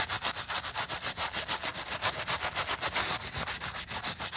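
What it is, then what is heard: Sneaker midsole being scrubbed. A gloved hand scrubs the foam-covered white rubber/foam midsole and heel of a sneaker resting on a towel, working a wooden-backed bristle brush back and forth. The result is a steady, rhythmic, bright bristly scratching, with strokes arriving about every quarter second and very little low end.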